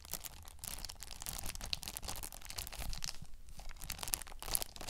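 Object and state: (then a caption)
Shrink-wrapped plastic game case. Long nails scratch and tap a thin, hollow plastic PS5 game case that is held up and still sealed in cellophane wrap, crinkling the film. The result is a continuous, dense crackle of bright, crisp crinkles and scratches with small tapping clicks, layered over a soft low rumble.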